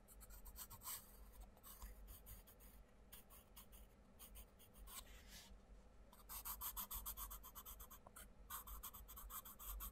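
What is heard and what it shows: A wooden coloured pencil makes scratchy colouring strokes across a paper colouring book page lying flat, while the other hand holds the page down. Rapid bright, rasping strokes come in bursts over a low steady hum, quieter in the middle and growing louder and denser toward the end.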